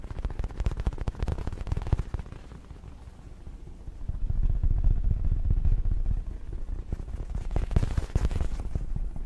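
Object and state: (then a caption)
Fabric throw pillow. A medium, soft light-blue fabric throw pillow with pom-pom trim is held in both hands and scratched and tapped with fingertips close to the microphone. The sound is a deep, muffled run of soft thumps and rubbing, with almost no high end. A quieter stretch in the middle gives way to a louder, denser scratching passage, and then a few sharper taps near the end.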